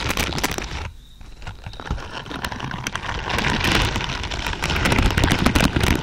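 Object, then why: Plastic bristle pad. Long purple pointed nails scratch and rake across a large lavender pad densely covered in thin, flexible plastic or silicone pins. The result is a dense, crackling, rain-like rustle with a brief quieter dip near the one-second mark. It then builds back into steady, bright bristly scraping.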